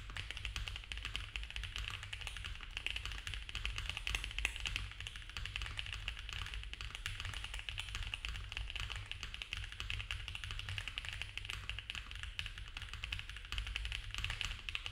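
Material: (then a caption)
Plastic. A compact mechanical keyboard with cream ABS keycaps on a dark case, a polycarbonate plate and foam filling is typed on fast by both hands with the fingertips. The result is a dense, steady stream of short, bright plastic clicks and taps with very little ring, set over a low background hum.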